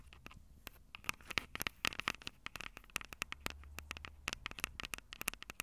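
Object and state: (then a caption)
Metal mic capsules of a handheld recorder. Long purple nails scratch and tap the two small metal-mesh condenser capsules on top of a black plastic Tascam DR-05 handheld recorder, the same recorder capturing the sound. The result is a rapid, irregular series of sharp, bright clicks and taps with no ring, centered around 2.2 kHz, over light scratching and a faint low hum.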